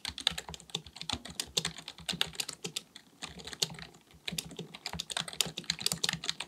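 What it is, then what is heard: Plastic computer keyboard being typed on. Both hands type continuously with their fingertips on a black, full-size plastic keyboard with a hollow body, likely mechanical, resting on a desk. Rapid, dry key taps click bright and sharp, with almost no low end and no ring. A brief slowdown comes just past the midpoint before the fast typing resumes.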